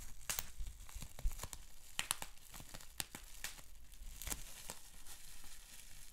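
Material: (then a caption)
Plastic. Fingertips and nails scratch and squeeze a bundled sheet of clear plastic bubble wrap with small bubbles. The result is a steady run of dry crinkling with many sharp, bright crackles and snaps that die away almost instantly, over a faint low rumble.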